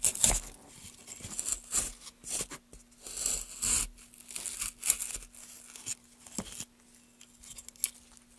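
A small gouge held in gloved hands carves shallow grooves into a solid pale wooden block. Short, bright scraping strokes come in uneven bursts, with a faint steady low hum underneath.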